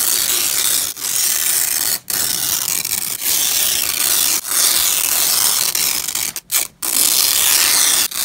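Black-gloved hands peel apart the fastened layers of a purple nylon hook-and-loop (Velcro) strap resting on a grey cloth. It makes a bright, rasping rip that runs almost continuously, broken by brief pauses between pulls, with nearly all the energy in the high range.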